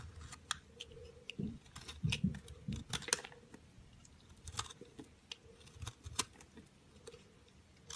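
A round, solid orange-pink speckled soap bar held in the hand is cut and scraped with a utility knife blade, and the shavings fall onto a ledge. Short, crisp scraping clicks and snaps come at an irregular pace, some with soft low thuds beneath them, over a faint steady hum.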